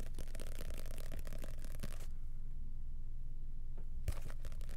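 Fingers riffle, flip and scratch the pages of a small red-and-white printed paper booklet held in both hands close to the microphone. Fast, dense papery crackling fills the first two seconds, then quiets to a low steady hum before a short burst of flicking returns near the end.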